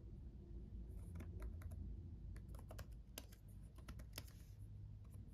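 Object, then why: Plastic laptop keyboard keys. Fingertips of both hands type on a black laptop keyboard with red backlit plastic keys, making quiet, irregular, sharp clicks with a bright edge. A steady low hum sits underneath throughout.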